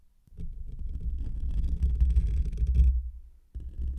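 Fingertips and short nails of both hands scratch and rub the rounded, hollow black metal wire-mesh grille of a desktop condenser microphone. The result is a dense, booming low rumble with crackly scratching on top. It swells for about three seconds, fades briefly, then resumes near the end.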